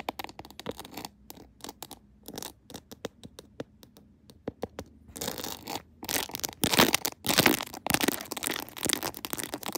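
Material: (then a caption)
Plastic. Long nails tap and scratch over a clear plastic phone case decorated with rhinestones and a pearl Hello Kitty, resting on a tripod. Sharp, dry clicks come scattered at first, then give way around the midpoint to denser, louder, bright scraping strokes that run to the end.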